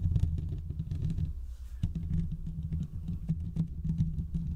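Fingertips scratch both sides of the hollow metal mesh grille of a large condenser microphone. The result is a dense, muffled, low rumbling scrape made of rapid rubbing strokes, with a short lull partway through before the scratching resumes.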